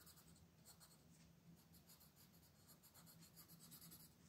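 A large printed paper coloring page lies flat and solid on a table, held down by one hand with long painted nails while the other hand rubs and scratches its surface with a colored pencil tip, shading in small strokes. Soft, continuous, dry scratching with bright, high strokes rises and falls over a steady low hum, all at a quiet level.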